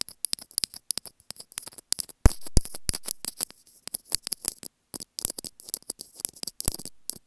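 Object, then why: Small plastic earphone inline microphone on its cable. Long painted nails scratch and rub along a small white hollow plastic inline microphone on an earphone cable, tapping and sliding over the housing and the cable. Quick, irregular dry clicks and bright crackling scratches follow one another closely, with a louder, longer rubbing stretch in the middle and brief silent gaps. Each tick dies away almost instantly.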